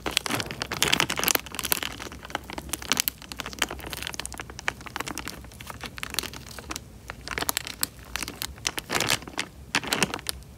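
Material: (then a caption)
Plastic. Fingertips squeeze and crinkle a small, clear, thin plastic bag full of water, producing dense, bright crackling and crinkling of the film with very little low end. Water sloshes with bubbles inside as the bag is pressed, in bursts of sharp, quickly fading crackles throughout.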